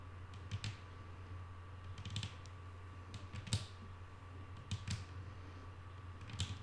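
Long nail tips slowly tap on a flat, solid wooden tabletop. Light, sharp clicks come in sparse, uneven clusters and die away almost instantly, over a steady low hum.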